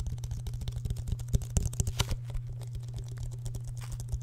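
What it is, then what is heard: Plastic water bottle. A small clear plastic water bottle with an orange-red plastic cap, held close to the microphone, is tapped and handled with the fingertips. Quick, uneven, dry taps and clicks fall over a steady low hum, with a few sharper, brighter crackles near the middle.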